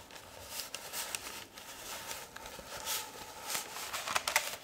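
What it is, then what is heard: Roll of baking paper. Long red-painted nails and fingertips tap and rub along a long white roll of baking (parchment) paper, a hollow tube held in one hand. The result is quiet, bright, papery scratching and crinkling with almost no low end, broken by light, short taps that grow sharper toward the end.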